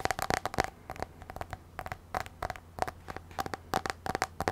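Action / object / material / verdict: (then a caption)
tap / tablet glass touchscreen / glass / none. Long nails tap rapidly on the black glass touchscreen of an iPad, a thin flat device held tilted. The result is quick bursts of sharp, bright clicks with a faint tone near 750 Hz, each dying away almost at once, separated by short quiet gaps over a low steady hum.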